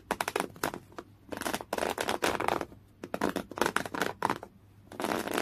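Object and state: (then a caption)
Coarse cotton canvas cloth being scratched. A folded piece of thick, coarse-weave beige cotton canvas fabric lies flat, soft and non-hollow, and is scratched hard with the natural fingernails of one hand. Clusters of quick, dry, raspy strokes alternate with longer continuous scrapes and brief near-silent pauses, giving a bright, broadband scratching texture with little low end.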